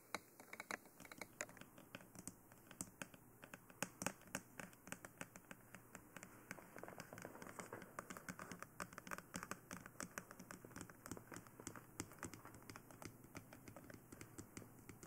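Long nails tap rapidly across the face, sides and top of a glossy black, hollow plastic dummy head microphone. The result is a quiet, steady run of short, dry clicks with a bright edge and a faint hollow body, with almost no ring after each tap.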